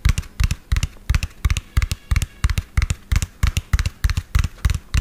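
A medium lime-green hollow plastic toy dump truck with an empty tipper bed is tapped fast with fingernails and fingertips. Quick clusters of dry, hollow clicks pair a deep thump with a bright tick, arriving about three times a second in an uneven rhythm. Each tap stops almost instantly with no ring.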